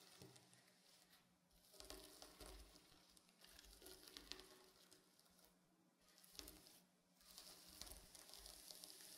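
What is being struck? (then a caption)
Sequin-covered fabric pillow. Fingernails scratch and brush across the surface of a reversible blue and silver sequin pillow, making a soft, bright, crackling rasp like sizzling, rising and falling in repeated waves. At the end, the hands grip the pillow's edges.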